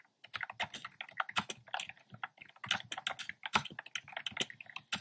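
Fingertips type steadily on a black plastic keyboard with hollow round pastel retro keycaps. The result is a quick, uneven run of crisp, bright plastic clicks and clacks with almost no low end, each tap dying away almost instantly.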